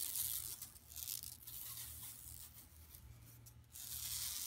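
Long nails scratch and rub across a flat, empty yellow woven plastic mesh tote bag lying on carpet. The result is a steady, bright, hissy scratching that is louder at the start and end and softer in the middle, over a faint low hum.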